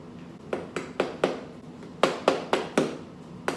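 Freshly baked baguettes just out of the oven are tapped to check doneness, giving nine short, hollow knocks centered around 400 Hz that die away quickly, in two bursts of four and a final single tap. The hollow sound shows the bread is baked through and not burnt.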